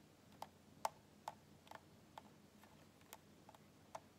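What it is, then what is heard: Plastic soda bottle, fingernail taps. Fingernails tap a small, full PET cola bottle and its white plastic cap while the bottle is tilted in the hands and then held upright. Eight light, dry ticks sound at uneven intervals, each short and clicky around 875 Hz with a bright edge and almost no ring, over a quiet, faint background.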